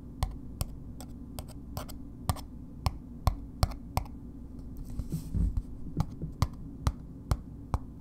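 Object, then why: Paper-wrapped bar of soap tapped with fingernails. A red, paper-wrapped solid bar of soap is held in one hand and slowly tapped with long nails, making a string of sharp, dry clicks with almost no ring. Around the middle, a brief rustling scratch breaks in, and the slow tapping carries on over a steady low hum.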